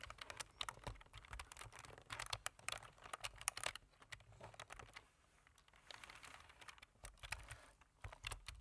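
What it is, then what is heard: Plastic computer keyboard being typed on. Fingertips of both hands type on a black plastic computer keyboard, producing quick, dry, bright key taps in uneven bursts. The clicks are short with almost no ring, and a brief quieter pause falls midway before the typing picks up again.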